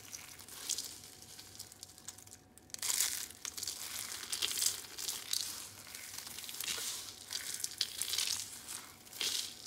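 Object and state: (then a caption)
Dry soap curls crushed. Purple and white dry soap curls are squeezed in the palms and crumbled into a pile of flakes, then fingertips rub the pile. A dense, bright, crackling crunch runs throughout, rising and falling in bursts with a brief near-silent dip partway through. There is almost no low end.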